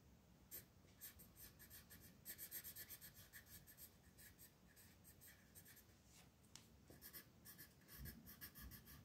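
A purple colored pencil shades a flat paper mandala coloring page on a table, rubbing across the sheet in short strokes while the other hand holds it in place; the same pencil is used throughout. The quiet, bright scratching comes in uneven bursts of strokes over a soft low rumble.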